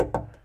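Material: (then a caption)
Sheet steel. Two taps on the sheet steel lower rear wall panel of a dual cab truck's cab, near where the C-pillar trim will cover it, give short, hollow-sounding knocks with a mid-range tone around 500 Hz and quick decay. The panel sounds a bit hollow, marking it as a spot for a small patch of deadener.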